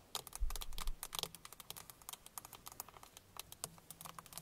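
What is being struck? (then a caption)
Hard plastic steering wheel airbag cover. Long painted fingernails of both hands rapidly tap the hard plastic airbag cover at the center of a car steering wheel. The result is a quick, irregular patter of sharp, bright clicks with a faint low hum underneath.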